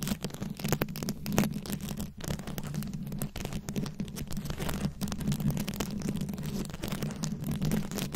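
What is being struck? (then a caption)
Microphone head covered in glued-on rhinestones, scratched with long acrylic nails. Long acrylic nails scratch and tap across a fist-sized microphone head fully covered in small glued-on rhinestones and beads. The result is a dense, continuous stream of crackly, gritty scratching with rapid little clicks over a steady low hum.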